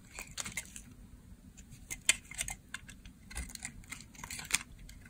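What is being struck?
Bar of soap.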